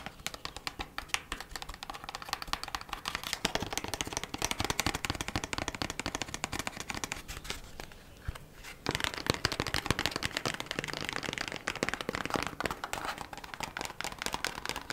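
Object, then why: Thin kraft cardboard packaging sleeve. Long nails rapidly tap and scratch an opened, thin kraft cardboard packaging sleeve for beeswax wraps. The result is a dense stream of crisp, dry, papery clicks and scrapes, with a brief quieter lull around the eighth second before the fast tapping resumes.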